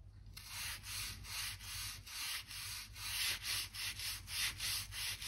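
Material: Wood.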